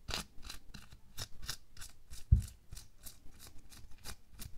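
Bare fingertips and nails scratch, rub and pinch a thin pink latex/nitrile glove worn on a hand resting on a white table. A quick series of short, bright, crisp scratching and rubbing bursts sounds over faint low rustle, with one louder low thump near the middle.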